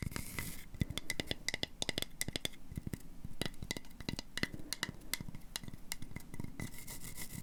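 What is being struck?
Wooden coaster.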